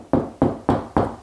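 Four knocks on a kitchen plasterboard ceiling between the joists give a dull, mid-pitched thud that fades quickly each time. The ceiling sounds hollow at this spot, between the joists.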